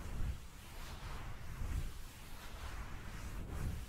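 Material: Nothing is struck.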